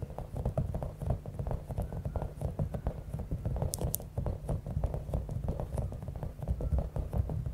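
Long acrylic nails rapidly tap and scratch a palm-sized, clear, soft rubber stress ball with a spiky top, filled with small beads. The result is a steady, dense patter of dull, short, low-pitched taps with soft scratchy texture, and two brief bright clicks near the middle.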